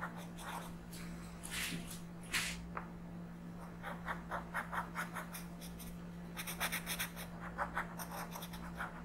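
A yellow colored pencil is rubbed in quick strokes across a flat paper coloring book page. It makes soft, dry scratching, first as longer scrapes, then as a series of short, bright rasping strokes. A steady low hum runs underneath throughout.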